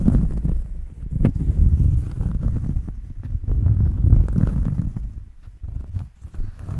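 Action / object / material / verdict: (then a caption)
scrape / thin round cork coaster scratched with fingernails / cork / none. Long fingernails scratch a large, round, thin solid cork disc held upright in front of the microphone. The result is a dull, low, rumbling scrape with irregular swells and dips and almost no bright edge.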